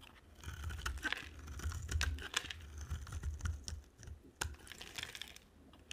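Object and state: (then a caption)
Bar of dry soap. A utility-knife blade scrapes and carves a solid green bar of dry soap with white stripes and a black outer layer, held by a hand with long nails, shaving off green curls. The cutting makes a dense run of crisp, brittle scraping ticks and clicks with bright edges over a soft low rumble, rising and falling in short bursts. The clicks have almost no ring.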